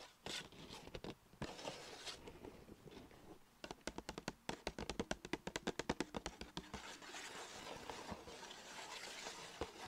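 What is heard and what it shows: Long nails tap and scratch the side of a small striped Sephora paper bag tilted on a lap, while the other hand holds its ribbon handles. Dry scraping and crinkling give way to a fast run of sharp, bright taps in the middle, then return to softer scratching over a steady hiss.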